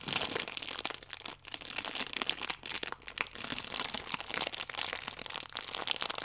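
A plastic-wrapped stack of yeast sachets is held flat in both hands while thumbs and long nails press and scratch the plastic film. The result is a dense, continuous, bright crinkling with quick crunchy bursts, almost no low end, and very little ring after each press.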